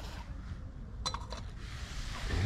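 A ceramic earthenware fondue pot clinks while an outdoor cheese fondue is being set up. Three quick, bright, clicky clinks come in the middle of a low, rumbling outdoor background that grows louder toward the end.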